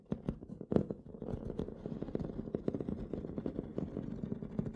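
Both hands tap and scratch the textured metal lid of a small, hollow aluminum carrying case, a poker set case lying closed on dark cloth, using fingertips and short nails. The result is a dense run of quick, dry taps with a hollow, low-mid body, mixed with soft scratchy friction. Each tap dies away almost at once.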